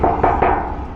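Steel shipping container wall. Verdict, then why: Unpadded. Three knocks on the steel wall of a shipping container, each a hollow, resonant clang around 770 Hz that rings for about half a second. The wall is unpadded and uninsulated, unlike the pricier padded containers with a cooling system.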